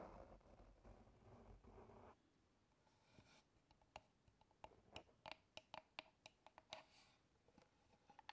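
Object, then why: Small wooden box with metal clasp. Fingertips and nails rub and scratch the lid and sides of a small, hollow, brown wooden box with a metal clasp, held in both hands close to the microphone. A dense, scratchy rubbing fills the first two seconds, then drops to a soft hiss. A series of about fifteen sharp, bright, dry clicks and taps follows with almost no ring.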